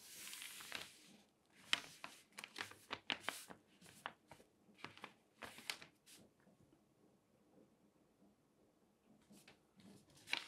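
A large open newspaper of thin newsprint lies flat on a table while a page is turned, then a flat hand with long nails rubs and slides across the pages. A bright, airy swish and crinkle opens the clip, followed by a run of quick, crisp rustling bursts. The sound fades to a faint scratching hush before one last papery crinkle at the end.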